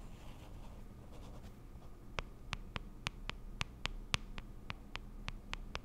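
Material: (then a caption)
Plastic. Long acrylic nails tap and scratch across the printed lid of a small round pink plastic cushion compact, held up closed and hollow. Faint scratching gives way to a run of 14 sharp, bright clicks, each dying out almost instantly, at an uneven pace over a low steady hum.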